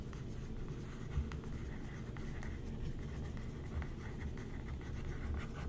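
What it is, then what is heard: Glossy paper magazine being scratched. A thin wooden stick traces and scratches across the printed page of an open glossy paper magazine spread lying flat, while the other hand rests on the paper. Soft, steady scratching and brushing sits over a low rumble, with a few slightly louder strokes.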